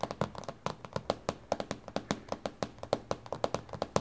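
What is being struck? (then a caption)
Glass tabletop. Both hands with long, glittery painted fingernails tap on a flat, solid, reflective dark glass surface, likely a glass tabletop or a tablet screen. About 27 quick, crisp clicks are heard in an uneven rhythm over four seconds, each with a hard attack and a tone near 540 Hz. Each click fades almost at once.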